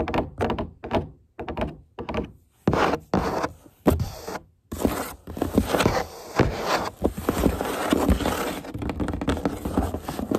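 Long nails and fingertips rub and scratch the flaps and walls of a large, empty corrugated cardboard box. Short, dull scratching bursts with soft hollow thunks are separated by brief silences at first, then give way to denser, continuous papery scraping. The sound stays mostly low and mid-range, with little bright content.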